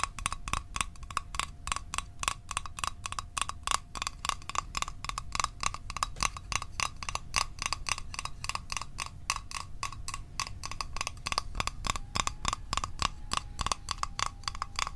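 A small, hollow, rectangular printed metal Altoids Arctic mint tin is held in one hand and tapped with the fingertips and short nails of the other. The result is a fast, steady stream of bright, metallic clicks with a short ring near 2.8 kHz, over a faint low rumble.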